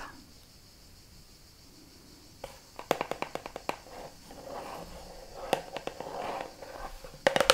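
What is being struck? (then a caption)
Plastic shampoo bottle. A red translucent plastic kids' shampoo bottle (Garnier Ultra Dolce, Ariel label), medium-sized, hollow and mostly empty, is held in both hands and tapped and scratched on its sides and front with long manicured nails. After about two seconds of near silence, bursts of sharp, dry clicks with a hollow mid-range tone come in quick flurries, separated by softer scratching. The bottle's clicks are short and die away almost instantly.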